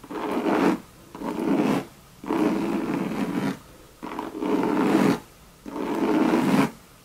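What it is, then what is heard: Coated canvas handbag scratched with nails. Long red nails scratch across a hollow Louis Vuitton monogram bucket bag made of coated canvas. Five separate rasping strokes, each lasting just under a second, have a low-mid scratchy texture centred around 280 Hz and short quiet gaps between them.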